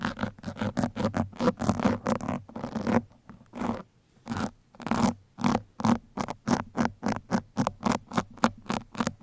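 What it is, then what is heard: Foam microphone windscreen being scratched. Two metal pins scratch across the sides and top of a black foam microphone windscreen in quick, repeated strokes. Each stroke is a short, dry, crackling rasp with a muffled low-mid body around 230 Hz and little brightness. The strokes come in a steady rhythm, pause briefly in the middle, then resume faster.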